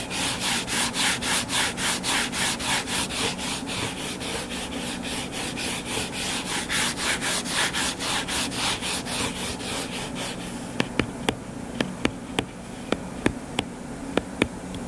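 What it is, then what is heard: Hardcover book being scratched. Fingertips and nails scratch the cover of a closed, solid hardcover book lying flat on a table, making rapid, rhythmic bright rubbing strokes at about four per second for roughly ten seconds. The scratching then softens into a quieter hiss, broken by sharp, separate high clicks from the nails on the cover.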